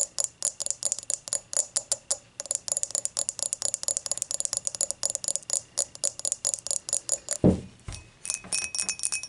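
Long matte nails tap and scratch an empty, clear dimpled glass beer mug, first tilted and then upright. A fast run of bright, clicky taps carries a faint glassy ring, broken by a duller low knock near the end before the tapping resumes.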